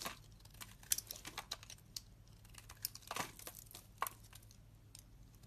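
A solid white bar of soap, held in the hand, is scraped and carved with a metal utility knife blade. The result is a series of quiet, crisp, bright scraping and crackling bursts with short sharp flicks, over a faint low hum.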